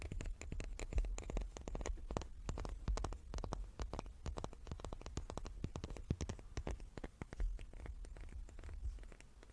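A small wooden cube is tapped repeatedly with quick, light, dry taps in a steady, uneven patter. Each tap is short and dies away fast, with a soft low thump underneath and a few brighter clicks on top.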